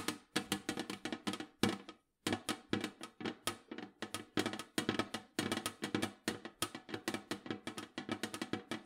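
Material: Tinplate steel.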